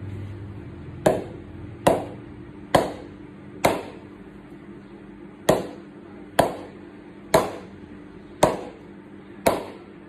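A TON Black Edition willow cricket bat is tapped nine times at a slow, uneven pace to show its ping. Each tap is a sharp, woody knock with a bright, short ring that fades quickly over a faint, steady low hum. The bat shows a good ping with nice punch.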